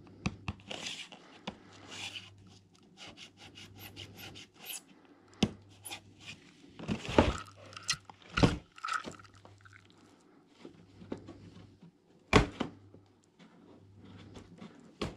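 A closed, hollow, shoe-box-size brown corrugated cardboard shoebox for Vivobarefoot Magna Trail 2019 hiking shoes, printed with a red hexagon logo and a barcode label, is held in both hands in yellow rubber gloves, turned over and rubbed with gloved fingertips. Soft, papery rubbing and scraping runs throughout with irregular, sharper taps and bumps, a few louder bright knocks, and a faint low hum underneath.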